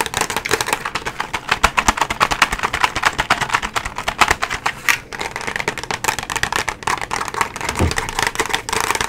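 Long nails tap rapidly across the surface of a flat cardboard nail tips box held horizontally, making a steady stream of sharp, dry clicks. The taps are bright and papery with very little low end. Each one dies away almost instantly.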